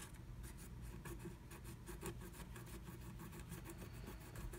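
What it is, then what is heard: Scratch art paper being scraped. A wooden stylus scratches inside the letter E cut-out of a blue plastic stencil laid on flat black scratch art paper, while the other hand holds the stencil in place. Quiet, rapid, bright scratching strokes repeat over a steady low hum.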